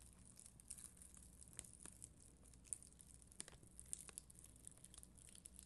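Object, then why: Acrylic rhinestone stickers on a backing sheet. A plastic spoolie brush is scratched across a sheet of red and clear acrylic rhinestone stickers on a white backing. The result is a quiet, steady crackly scratching dotted with sharp, bright ticks over a faint low hum.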